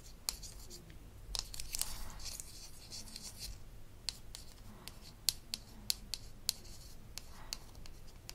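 Long acrylic nails tap and scratch a small, round, hollow and apparently empty plastic "Tooth Polish" pod with a pink label, held in hand, from a Melissa & Doug Super Smile toy dentist kit. Quiet, sharp, bright clicks with almost no ring are scattered among soft raspy scratching.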